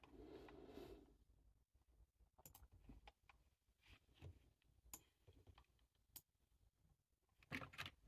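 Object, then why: Plastic computer keyboard. Fingertips type on a black low-profile plastic computer keyboard resting on a table, its hollow body giving each key tap a light, hollow click. After a soft, breathy rustle in the first second, the taps come in an irregular, quick patter of short, sharp clicks with bright edges. The taps get louder at the end.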